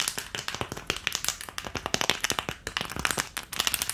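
An empty, long rigid green plastic ice cube tray with round cavities is held upright and tapped rapidly with long painted nails. About 29 sharp, bright clicks and taps rattle off it in quick, uneven bursts, each dying away almost instantly.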